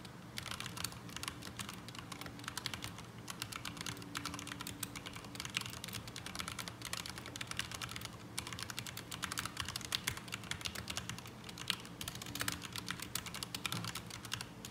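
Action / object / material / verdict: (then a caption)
tap / mechanical keyboard with plastic keycaps / ABS plastic / none. Both hands type rapidly with their fingertips on a black mechanical keyboard with ABS plastic keycaps resting on a desk mat. A dense, steady stream of short, bright plastic clicks and clacks runs throughout, with each keystroke dying away almost instantly over a faint low hum. The typing sound comes across as unsatisfying.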